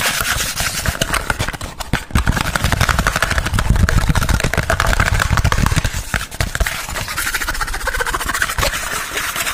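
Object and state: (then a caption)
Cardboard box sleeve, scratched and tapped. A thin, hollow, white printed cardboard sleeve about a hand's length long, held in front of the microphone, is rubbed and scratched fast with fingertips and nails. It makes a dense, continuous rustling scratch with a low, hollow rumble underneath that stays steady for about ten seconds.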